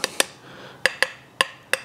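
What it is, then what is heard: Loose bottom rib on shotgun barrels. Six light, sharp taps on the loose bottom rib of a shotgun's barrels, each giving a bright metallic click with short high overtones. The steel rib's solder joint has let go, so it answers with a faint rattly buzz instead of a solid ring.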